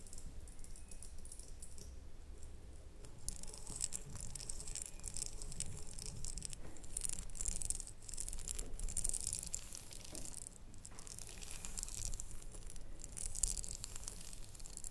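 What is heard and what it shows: Long nails tap and scratch the ribbed sides of a small red ribbed glass jar with a lid standing on a table. Quick, dense clicks and scratchy rasps keep up over a soft low rumble, with bright, crisp high-end detail throughout.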